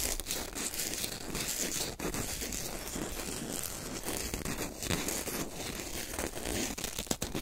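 A small, white, lightweight corn starch foam packing peanut is squeezed, crushed between fingers and torn right beside the microphone. The result is a steady, dense crunching and crinkling with squeaky tearing textures that reach bright highs, plus a few sharper cracks near the start and end.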